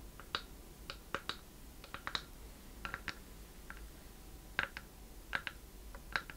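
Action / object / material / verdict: tap / small wooden chest box / wood / none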